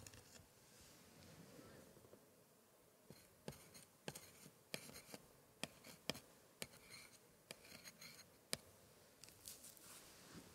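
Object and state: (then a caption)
Old paper scrapbook page. A gloved hand traces and scratches a thin pointer over the right page of an open antique paper scrapbook with embossed paper scraps, staying on the same spread throughout. Soft, bright scratching and rustling runs quietly under a string of sharp, short ticks as the pointer catches on the page.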